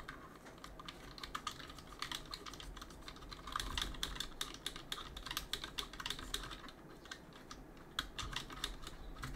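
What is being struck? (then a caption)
Mechanical keyboard with plastic keycaps. Gloved fingertips press and tap the plastic keycaps of a backlit mechanical keyboard while cleaning it, producing a steady stream of quick, bright clicks and clacks. The sharp taps ring briefly around 3.4 kHz over a low background rumble, with a slightly denser, louder flurry in the middle of the clip.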